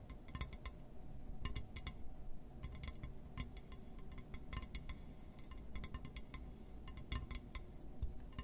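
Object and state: Glass surface.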